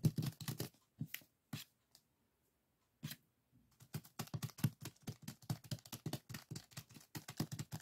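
A small clear plastic zip-lock bag full of purple sand granules lies on a wooden table while fingertips tap and scratch on it. The result is soft, dry, crinkly taps and scrapes with a low thump and a short high rustle. They come in a burst, thin out into a brief near-silence, then return as a steady run of quick, close taps.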